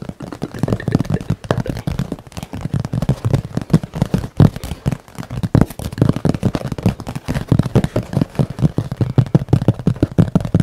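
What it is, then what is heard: Painted canvas board. A flat, rectangular painted canvas board about A3 in size, bearing a painted forest scene, is held in both hands and rapidly tapped and scratched with fingertips and nails. The result is a dense, continuous stream of quick, dull, low thuds that die away almost instantly, with faint scratchy texture between them and no bright ring.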